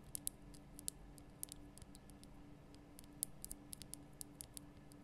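Long nails tap the lower sides of a large, lit pink Himalayan rock-salt lamp made from a solid, rough crystal block. The result is a string of quiet, sharp, bright clicks with no ring, spaced unevenly over a faint, steady low hum.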